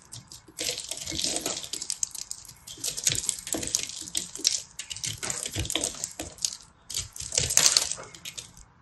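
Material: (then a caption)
Soap. A solid blue-purple ball of pressed soap flakes, held in the hand, is shaved and scraped with a small knife blade. It produces bursts of bright, crisp scratching and crumbling with short gaps between strokes, and one louder scrape comes near the end.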